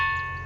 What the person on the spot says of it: ఆ శబ్దాలు ఒక రకమైన సంగీతం లాంటి రాగాల లాగా దేవుని గుళలే గంటలు మూవించినప్పుడు ఎలా వస్తాయో శబ్దాలు అలా వస్తున్నాయి